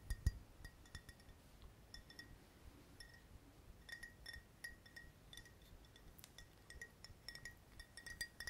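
A tall clear glass VOSS water bottle with a metal-look cap, partly full of water, is held in hand and tapped with the fingertips. A steady series of quiet, light glassy clinks rings briefly with a bright tone near 2 kHz and higher sparkling overtones. A low, soft handling rumble runs underneath, with a stronger thump near the start.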